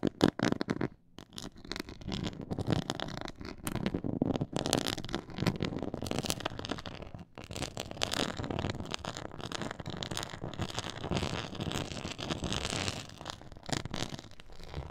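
Long nails scratch across a black pyramid-textured faux leather board, making a dense, continuous rasping and crackling scrape. Many quick strokes run together, with short pauses near one and seven seconds.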